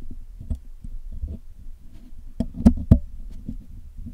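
A steel hook pick scratches and picks at the black hollow metal mesh grille of a Blue Yeti microphone while the other hand holds tweezers, cleaning the microphone. The sound is a steady, low, muffled scraping and ticking with a few sharper, louder taps near the end. It has almost no bright content and each tick dies away at once.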